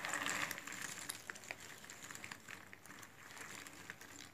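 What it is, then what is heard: Cardboard jigsaw puzzle pieces being rummaged. Fingertips with red-painted nails rummage, spread and scratch through a heap of loose cardboard jigsaw puzzle pieces in a cardboard box lid. The result is a light, bright, clicky rustling with quick irregular ticks, loudest in the first half-second and then settling into a softer, steady shuffle.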